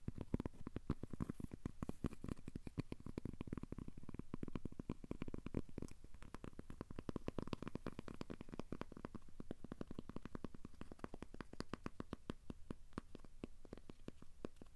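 A thin, solid, square cork coaster is held up in both hands close to the microphone while fingertips and nails tap and scratch its surface. The result is a quiet, continuous stream of rapid, soft, dry taps and scratches with a low, muffled tone and almost no ring.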